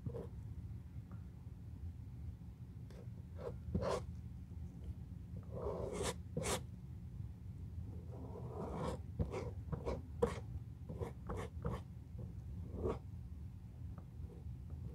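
A bristle brush is rubbed along a solid, glue-coated brown leather shoe outsole resting on a box. Short, bright scratchy strokes come in irregular bursts over a steady low rumble, each stroke dying away almost at once.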